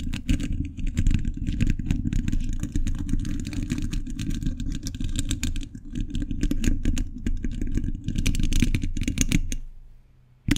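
A hollow domed steel mesh grille on a large condenser microphone is scratched and tapped by fingers wearing metal thimbles. The result is a dense, rapid run of clicky taps and scrapes over a heavy low-end thump, with bright metallic ticks throughout. It fades to near silence before a final sharp tap.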